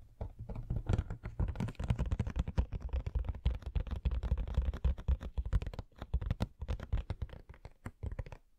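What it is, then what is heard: Cardboard collectible box tapped and scratched. Fingernails tap and scratch across the back and sides of a hollow cardboard Coca-Cola Funko Pop box with the figure inside. The result is a rapid, dense stream of soft, dull, low-heavy taps mixed with light scratching. Brief pauses break up the stream near the end.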